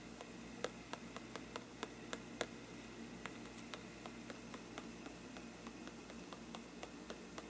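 The tip of a thin brush handle taps and scratches a hollow faux-parchment paper lampshade, making about seventeen short, dry, bright ticks at an uneven pace. Each tap dies away almost instantly over a steady, quiet hiss, with faint papery scratching between them.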